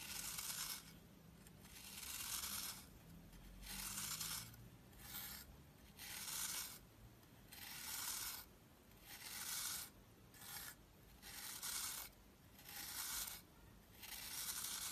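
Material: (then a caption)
Soap. A knife scrapes the surface of a round, solid, crumbly green soap disc held in the palm, shaving it into crumbs. Repeated bright, rasping scrape strokes come in short bursts separated by brief quiet pauses, with almost no low end.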